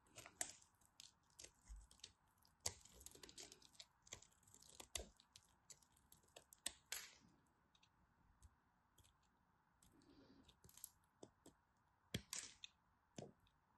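A thin remaining piece of a solid green striped bar soap is cut with a craft knife while held with long white nails. Many quick, crisp crunching and cracking snaps sound bright and dry, with quieter scraping between them. A steady low hiss runs underneath throughout.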